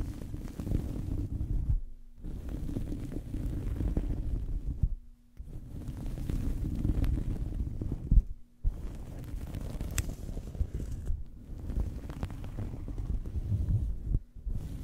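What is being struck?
Fabric towel.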